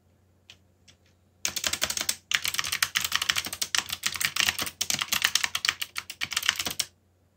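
Fingertips type on a backlit mechanical keyboard with black plastic keycaps. After a few faint isolated taps, a rapid run of bright, crisp key clicks starts at about 1.5 seconds, pauses briefly, then continues steadily until near 7 seconds. Faint background hiss sits under the typing.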